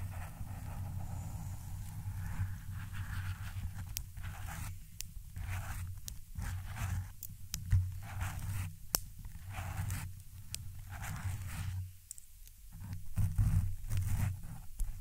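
Very long, pointed red acrylic nails scratch and brush a soft, porous black foam microphone windscreen up close. This produces a dense, low, muffled rumbling scrape with occasional sharp, bright clicks as the nails catch the foam.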